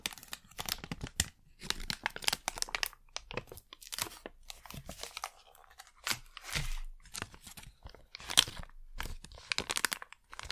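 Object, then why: Thin plastic wrapper packet. A thin printed plastic packet is crinkled, bent and scratched with long nails. Irregular bursts of crisp, bright crackling and crunching come in quick succession, with brief scratchy pauses between. Each sharp crackle stops almost instantly with no ring.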